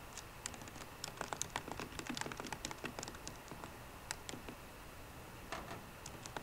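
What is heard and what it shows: Fast fingertip typing with short, rounded, green-painted nails on the low-profile plastic keys of a 13-inch aluminum MacBook Pro with a hollow, thin body. The result is a quiet run of dry, clicky key taps with bright nail ticks and almost no ring, over a faint steady hiss.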